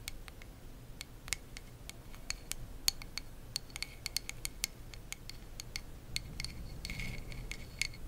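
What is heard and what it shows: Long acrylic nails tap and scratch the solid wooden back of a hand-sized hairbrush held close to the mic. Many sharp, bright clicks come in an uneven series over a soft low rumble, and a denser scratching stretch comes near the end.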